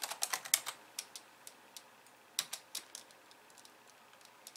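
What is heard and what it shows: Long nails type with two hands on a pink plastic computer keyboard with white keys, resting on a wooden desk. Quick, irregular, bright clicks and taps with almost no low end and very short decay come in a dense flurry at first, then turn sparser and softer toward the end.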